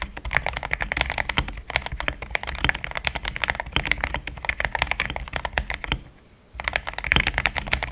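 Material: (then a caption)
Plastic. Fast fingertip typing on a solid, compact pink-cased mechanical keyboard with thick cream XDA plastic keycaps produces a steady stream of short, bright, clacky keystrokes with a low thock underneath. The typing pauses briefly just after the six-second mark, then resumes at the same quick pace.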